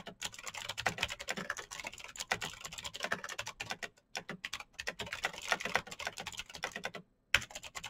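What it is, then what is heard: Plastic mechanical keyboard. Fingertips of both hands type fast on a black plastic full-size Razer BlackWidow mechanical keyboard with clicky green switches, RGB backlight and a hollow case, resting on a desk mat. Dense, bright clicky keystrokes clatter in quick bursts with short, crisp decays, broken by brief pauses around 4 seconds and just past 7 seconds before a sharp keystroke resumes the typing.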